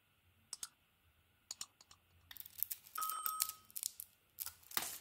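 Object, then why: Soap bar cut with a metal blade. A metal utility blade shaves and carves a solid blue dotted bar of soap, green inside, held in the palm. Short, crisp scratching cuts come first with quiet gaps between them, then denser bright scraping and shaving, a brief pause, and a final burst of high, dry scraping.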